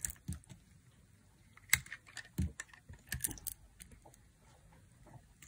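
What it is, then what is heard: Dry bar soap being carved. A hand-sized, solid, white dry bar soap held in the fingers is repeatedly carved with a thin black blade, making crunchy cuts and flakes. The quiet, irregular cuts are short, crisp scrapes and crackles with a bright hiss and a soft low thud underneath, each dying away almost at once.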